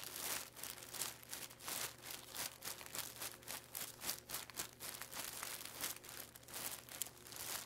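Both hands rub and press a flat, layered clear plastic packaging bag with a barcode label, holding plastic aquarium plants, crinkling the thin film with fingertips and palms. The result is a steady run of bright, dry crackling bursts that swell and fade rhythmically, mostly high in pitch with little low end.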